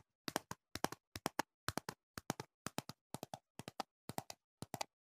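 A clear plastic jar with a label, filled with green foam earplugs, is held close and tapped with fingertips and nails. The taps come in quick clusters of two or three: short, dry, hollow plastic clicks that stop almost instantly, with steady pauses between bursts.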